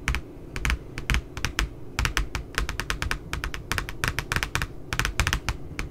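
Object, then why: Spiral notebook, glossy paper cover. Long nails tap along the lower edge of the glossy back cover of a puppy spiral notebook with a glossy paper cover. The result is a quick, uneven run of crisp, bright clicks, each with a soft low thump underneath, dying away almost at once.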